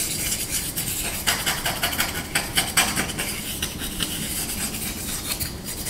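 Short nails and fingertips scratch and rub along the bowl and handle of a small, solid, light wooden spoon held in the hands. The result is a fast, dense, bright rasping texture with quick louder scratchy bursts that die away almost at once, over a faint low rumble.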